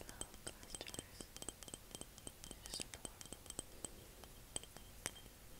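A small glass jar is tapped and clinked in a quick, irregular series of light, bright ticks. Each hit dies away almost at once over a faint background hiss, with a couple of louder clinks near the end.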